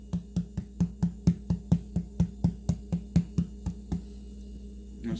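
A large, spongy giant puffball mushroom found in the woods is tapped repeatedly, giving a steady run of short, hollow, drum-like thumps with a low pitch around 170 Hz and almost no ring. The tapping stops just before 4 seconds, followed by a brief soft rustle at the end. The hollow sound is a normal trait of a puffball.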